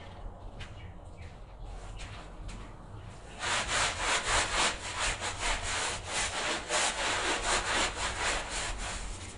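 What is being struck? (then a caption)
Pile carpet scrubbed with a bristle brush. A gloved hand scrubs a wet, medium-sized patterned pile rug covered in soapy foam, lying flat on a tiled floor, back and forth with a handheld bristle brush. Soft, faint brushing for the first few seconds gives way to louder, bright, rhythmic swishing strokes that repeat at a quick, steady pace until the end.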